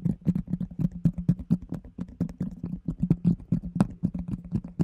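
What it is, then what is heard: Empty plastic container. A round, hollow, empty plastic container with a yellow lid is held close and tapped and scratched with fingertips and nails. A rapid stream of short, hollow taps with a low tonal thump near 195 Hz repeats throughout, mixed with faint scratchy noise, and each hit dies away almost instantly.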